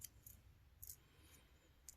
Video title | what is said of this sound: How To Fix Refrigerator Not Cooling - Clicking Noise | when you shake it and it sounds like there's rocks or something inside broken this is when a relay has failed